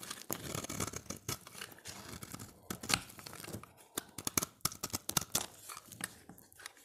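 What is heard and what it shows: A solid, dry, oval orange bar of soap is held in the hand while a utility knife blade shaves its edge, piling up curls. The strokes come as crisp, bright scraping and tearing sounds with crunchy, crinkly texture. Later they break into sharper, separate clicks and scrapes with almost no ring.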